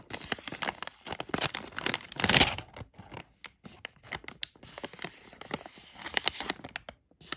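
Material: Plastic.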